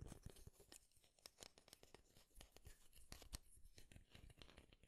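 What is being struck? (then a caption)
Wooden wide-tooth comb. Fingernails run across the teeth of a light wooden wide-tooth comb held close to the mic, scratching and strumming it. The result is a quiet, steady stream of quick dry clicks and raspy scrapes with bright, crisp edges that stop instantly without ringing.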